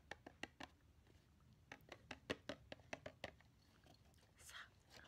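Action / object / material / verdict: tap / small cardboard gift box / cardboard / none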